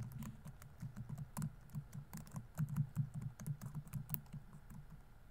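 Fingertips rapidly tap the plastic keys of a laptop keyboard on a grey laptop body while typing. Soft, low, muffled clicks come in quick, uneven runs with very little ring after each keystroke.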